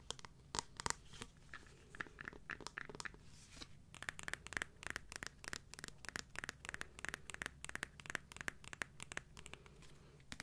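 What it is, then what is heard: Clear plastic high-heel shoe. A solid, transparent acrylic or plastic high-heel sandal with a clear heel and sole is held in the hands and tapped and scratched with long nails. Quick, dry, sharp taps sound in an irregular rapid series, with bright clicks and a tone near 950 Hz, over soft scratching between them. The taps stop almost instantly with no ring, and the overall level stays quiet.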